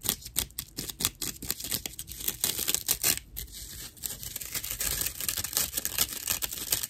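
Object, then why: Slice of dried natural loofah sponge. A slice of dried, fibrous natural loofah sponge is scratched with long nails, then held upright and scratched with both hands. The result is a dense run of rough, bright, crackly scratches with short, dry bursts and almost no low end.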